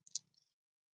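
A child's small faux-gold mustard seed pendant on a faux gold chain is shaken, and the tiny loose mustard seed inside rolls and rattles. Two sharp, bright clicks are heard, followed by a few softer, high ticking rattles that die out within half a second. The seed is clearly loose and audible inside the pendant.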